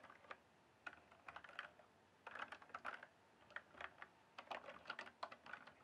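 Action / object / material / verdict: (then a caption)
tap / plastic mechanical keyboard / plastic / none. Fingertips type and tap on the keys of a full-size RGB backlit plastic mechanical keyboard with a hollow case. Quiet, irregular bursts of sharp, bright clacks come in quick clusters separated by short pauses. Each keystroke dies away almost instantly, leaving little low end.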